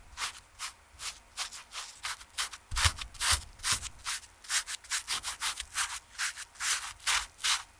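The side and heel of a TOMS canvas slip-on shoe are rubbed with a foam sponge brush, producing soft, brushy fabric scrubbing. About two dozen quick, bright, hissy strokes come at a brisk, slightly uneven pace, each fading almost at once, with a few firmer strokes near the middle.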